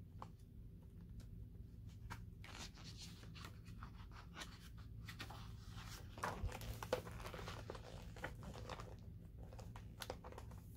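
Fingertips with nails rub and flip the glossy paper pages of a large open hardcover book. Quiet, uneven rustling and crinkly paper swishes come in quick bright bursts over a steady low hum, with a slightly louder flip near the middle.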